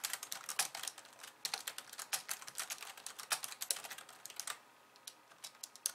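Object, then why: Plastic computer keyboard. Fast two-handed typing with long nails on a slim pink plastic computer keyboard with white keys produces a rapid stream of bright, clicky taps with no low end. The taps come in dense bursts, then thin out into a few scattered clicks near the end.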